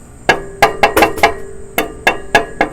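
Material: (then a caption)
Steel. Knocks from a block of wood on a hot catalytic converter, a metal shell with a ceramic honeycomb inside, on a car raised on ramps. Nine sharp, short knocks ring briefly with a metallic tone, and no rattling follows, showing the catalyst has not broken loose. The block of wood is used because the exhaust is hot.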